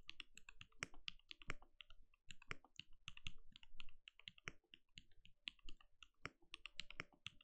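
A compact RGB-lit mechanical keyboard with a translucent plastic case and plastic keycaps sits on a desk and is typed on steadily with the bare fingertips of both hands. A quick, continuous stream of short, dry keystroke clacks is heard, each with a deep low thud under a bright click that dies away almost instantly. The rhythm stays busy and uneven, with a few louder key strikes standing out.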